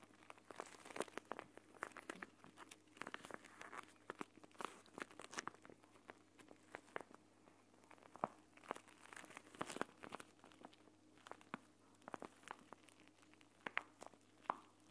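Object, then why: Plastic pouch filled with gel beads. A plastic gel bead eye mask, a clear plastic pouch filled with green gel beads, is held in both hands, squeezed and crumpled while nails rub the plastic. It makes a quiet, dense run of crinkles, sharp tiny clicks and scratchy rustles with no ring-out, over a faint steady low hum.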